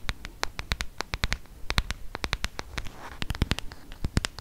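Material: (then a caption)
Plastic. Fingertips and nails tap and scratch the plastic back and edges of a solid, handheld black smartphone close to the mic. About thirty short, dry clicks follow in quick succession, each with a low thump and a bright tick that dies almost at once, over a faint scratching hiss.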